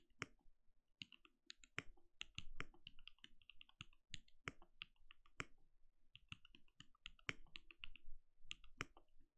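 Fingertips of both hands type rapidly on a compact backlit mechanical keyboard with plastic keycaps and a translucent glowing case. Quick, dry key taps pair a bright click with a low, muted thud, each dying away almost instantly in a steady, uneven patter.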